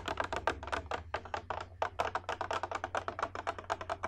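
Long red nails tap rapidly on a hollow, empty clear glass bowl with a rim, held up in the air, making about 26 quick, light clicks over four seconds. Each tap is a short, bright tick with a faint glassy ring near 900 Hz that fades almost at once, over a steady low hum.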